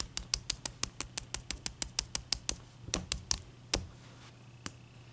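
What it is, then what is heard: Large ice cube. A large, clear, solid block of ice resting on a towel is knocked with a knuckle, then tapped and scratched across its surface with long dark nails. Twenty sharp, bright, dry clicks come in a quick steady run, then slow to a few scattered taps. Each click dies at once with no ring, over a faint low hum.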